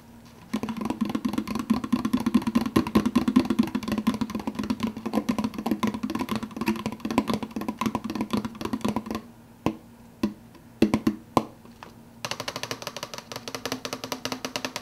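Fingertips rapidly tap the clear plastic lid of a large, empty, translucent blue plastic soda cup held in one hand, making a dense stream of hollow, resonant clicks with a low tonal ring. After about nine seconds the tapping breaks into a few sparse, separate taps. It then resumes as a quieter, brighter, rustling patter to the end.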